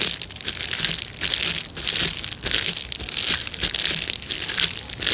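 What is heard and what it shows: A clear plastic bubble wrap sheet is pressed and crushed by the fingertips of both hands. The result is a dense, bright crinkling and crunching with small pops, mostly in the high range with little low end. It swells and eases in irregular waves without stopping.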